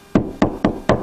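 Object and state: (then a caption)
Drywall over a stud, solid. Knocking on a drywall wall over a wood stud gives four short, dull knocks with a low body around 215 Hz and quick decay. The knocks sound solid rather than hollow, indicating a stud behind the drywall at that spot.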